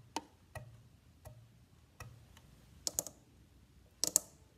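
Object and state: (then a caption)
Wooden violin body tapped. Fingertips and nails tap on the top of a hollow, varnished wooden violin near the bridge, then on its rib, then scratch across the back plate. The result is a series of short, dry, bright ticks at a low level, ending with a few closer, sharper clicks and a brief hiss-like scrape.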